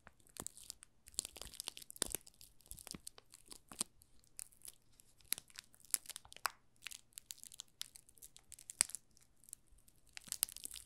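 Fingertips press and rub the thin clear plastic film wrapped around a small solid pink rose soap bar, working along its edges and top. They produce bright, crisp crinkling and crackling in quick, irregular bursts that are dry and short. A faint low hum sits underneath.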